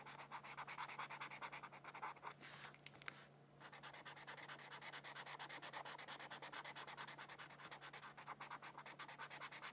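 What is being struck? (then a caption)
Felt-tip marker on paper sheet. A felt-tip marker rubs rapidly back and forth across a thin white paper mandala coloring sheet lying on a book. The quiet, bright, scratchy strokes keep a steady rhythm, with a brief pause near the three-second mark marked by a couple of small clicks before the coloring resumes.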